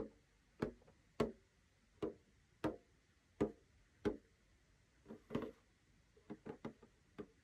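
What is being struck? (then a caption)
Small metal tin with a clear plastic window lid. A small flat rectangular metal tin with a blue snowflake-printed rim and a clear plastic window lid, holding paper items and lying on a notebook on a wooden desk, is tapped with the fingertips of both hands (short nails) on its plastic window. About 12 short, dull, hollow taps with a mid-range pitch are heard. They start slow and widely spaced, then come in a quicker cluster near the end.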